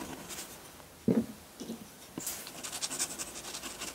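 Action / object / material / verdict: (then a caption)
scrape / metal dip pen nib on paper sheet / paper / none. A metal dip pen nib scratches hatching onto a flat sheet of white drawing paper. Faint, dry scratches are broken by a few soft low taps, then a quick run of brighter, rapid scratching strokes fills the last half.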